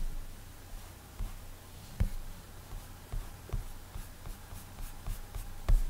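Fingertips rub back and forth in repeated strokes across the flat glass touchscreen of an iPad tablet while drawing. The clip is quiet: soft, dry skin-on-glass swishes over a low rumble, with a few brief taps and ticks that die away almost instantly.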